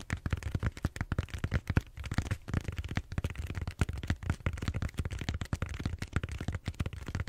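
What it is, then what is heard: Styrofoam foam roller. Fingernails scratch and tap across a large purple bead-foam styrofoam roller held horizontally. The result is a rapid, uneven stream of short, dull taps and crackly scrapes, heavy in the low end with very little brightness.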